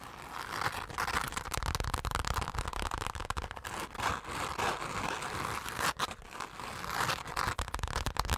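Long pink acrylic nails quickly tap and scratch a flat, hand-sized, soft-bodied dark purple zipper pouch covered in chunky glitter, held in both hands. The sound is a dense, unpredictable stream of gritty, crackling scrapes and dry taps with a rough mid-range hiss, all short and undamped, with a few slightly louder accents throughout.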